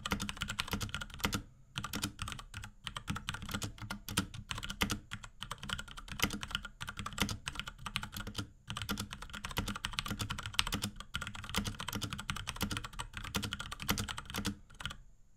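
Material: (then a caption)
Plastic. Fingertips of both hands type rapidly on a small pink Akko x Ducky 3084 mechanical keyboard with Cherry MX Brown switches, plastic keycaps and a plastic case. Dense, short, dry clacks with a low thump and a bright click run steadily, broken only by brief pauses near 1.6 and 8.7 seconds.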